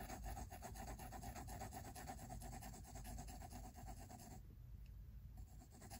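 A pink mechanical pencil scratches repeated shading strokes on the white paper of a spiral-bound sketchbook resting on a wooden table. It makes a quick, steady back-and-forth rasping, about four strokes a second, over a low, soft rumble. The strokes briefly thin out near the end before resuming.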